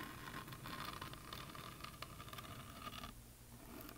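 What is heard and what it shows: Long fingernails scratch and tap across the textured glitter paint of a solid, painted wooden heart plaque. Soft, dry scraping is punctuated by quick, light taps, with a faint steady tone near 1 kHz. After about three seconds the scratching eases and the sound fades to a quieter, duller rustle.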